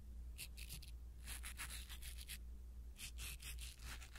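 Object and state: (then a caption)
Foam microphone windscreen being rubbed. A blue silicone-bristle ear pick rubs over a small black foam windscreen on a pin microphone, making soft, bright scratchy rustles in short bursts and clusters. The sounds sit over a steady low hum.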